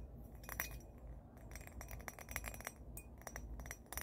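Long painted fingernails tap and clink a small, hollow, empty cut-crystal glass or bowl with a faceted pattern, held in both hands. A quick, irregular series of short, bright, high glassy clinks rings briefly over a steady low background hum.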